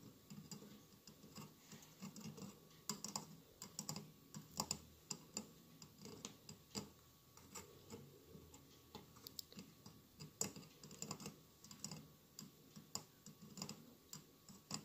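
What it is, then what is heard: Glass mosaic candle holder. Fingernails tap rapidly on the tiled sides of a hollow glass mosaic votive candle holder with a lit candle inside. Quiet, bright, clicky taps come in irregular clusters, each dying away almost instantly over a soft low murmur.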